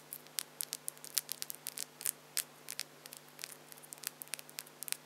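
Long French-tip acrylic false nails are clicked against each other, nail on nail, with both hands. About two dozen quiet, sharp, bright plastic clicks come in a quick, irregular patter, each dying instantly with no ring. A faint steady low hum runs underneath.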